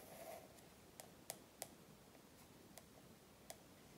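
About half a dozen quiet, bright clicks are spread out, with a faint brushing scratch at the start. They are dry and die away within a few hundredths of a second. Stiff coated paper over a thick stack of pages damps any ring.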